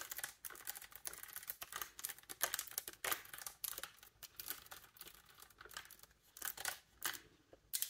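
Long nails quickly tap and press the silver key mechanism on a large, hollow wooden bassoon. Quiet, irregular bursts of bright, crisp clicks and clacks follow one another rapidly, each dying away almost at once, with almost no low end.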